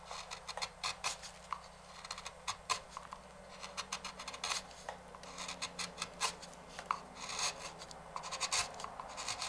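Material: Walnut wood.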